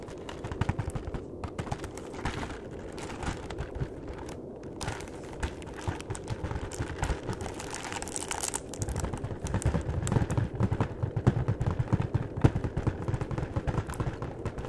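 A long, flat, hollow cardboard chocolate box is held at both ends while its edges are tapped and scratched with the fingertips and nails. The result is a steady, uneven stream of dull, low, hollow taps mixed with soft scratchy crinkling, with little ring after each tap. The sound grows somewhat louder and busier in the second half.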